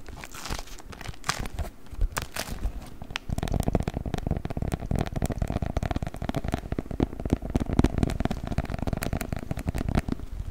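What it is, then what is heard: Beeswax wrap being crinkled. A rolled beeswax-coated cotton food wrap with a printed pattern is held in both hands and crinkled and squeezed with the fingers. It makes dry crackling and crinkling with short, sharp snaps, sparse at first and then a dense, steady stream of low, muffled crunches after about three seconds.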